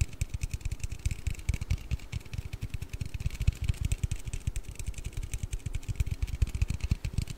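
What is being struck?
Aluminium drink can.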